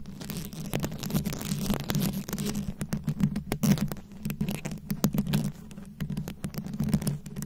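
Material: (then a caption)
Plastic. Very long acrylic nail tips rapidly tap and scratch a round, fist-sized microphone head covered in plastic rhinestones and beads. It makes a dense stream of short, crisp clicks and scraping ticks with a steady low hum underneath.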